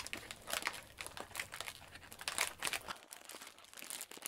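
A small, thin, clear plastic food bag full of breadsticks is held in both hands and handled with the fingertips as it is squeezed and opened. It gives a dense run of bright, crisp crinkles with sharp, quick crackling bursts that die away almost instantly. A faint low hum underneath drops out about three seconds in.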